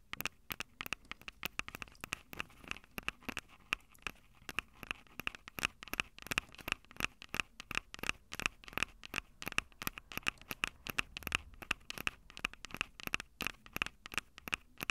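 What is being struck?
Handheld audio recorder, plastic body with metal microphone grilles.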